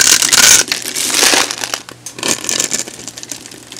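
A metal box-cutter blade scores and shaves a hand-sized, solid blue oval bar of soap held in the hand, letting crunchy curls and cubes of soap fall off. It makes a bright, dense crunching and scraping that is loudest in the first second and a half, then comes back in softer, crackly bursts.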